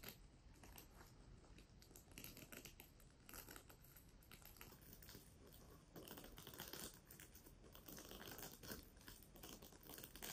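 A pink, flat and soft plastic sequin fabric pouch is scratched and tapped across its sequin surface with long nails. Continuous crisp, bright crinkling scratches mix with many quick taps and a low rustle underneath. The sound stays fairly even and soft throughout, getting slightly denser in the second half.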